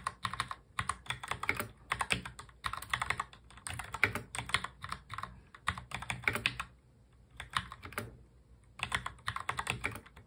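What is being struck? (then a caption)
Plastic mechanical keyboard. Both hands type fast on a full-size black mechanical keyboard with plastic keycaps, fingertips tapping the keys. Rapid, bright, crisp clicks come in dense bursts separated by brief pauses, with longer gaps near the 7 and 8 second marks. Each keystroke is short and dry.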